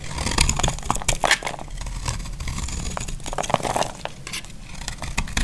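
A utility knife blade carves a solid, hand-sized, dry pink bar of soap held in the hand, and the shavings crumble onto a cloth surface. Dense, dry scraping and crunching fill the clip, with quick crisp snaps and bright crackles over a soft low rumble.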